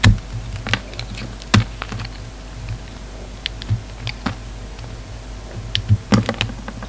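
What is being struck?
Bar of soap cut with a knife blade.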